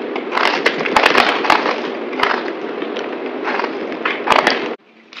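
A yellow utility knife blade scrapes and cuts into a solid, dry green bar of soap held in the hand, partly carved into cubes, with gold-wrapped soaps nearby, flaking off crumbly pieces. A dense, dry crackling scrape with sharp, bright crunchy snaps runs steadily for almost five seconds. It then cuts off abruptly to a faint, quiet crackle.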